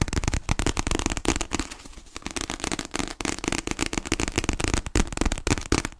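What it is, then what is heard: Paperback book. A solid paper paperback copy of "Fragile Things" is held upright and tapped rapidly with long painted nails on its cover. The result is a dense, irregular stream of sharp, crackly clicks over a soft low thump, easing briefly around the two-second mark before picking back up.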